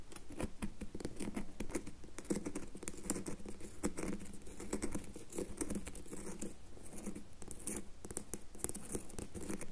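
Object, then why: Bar of soap. Fingernails tap rapidly across the surface of a solid red bar of soap held in one hand. The result is a dense, steady patter of short, dry clicks with a muted low body and bright edges.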